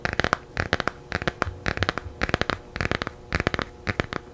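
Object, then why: Laminated cardboard hardcover picture book. Long painted nails tap and scratch the glossy cover of a small, solid, laminated hardcover children's picture book made of cardboard and paper, held in both hands close to the mic. About twenty quick, dry clicks land in fast bursts, each dying away almost instantly, with faint scratchy rasps between them.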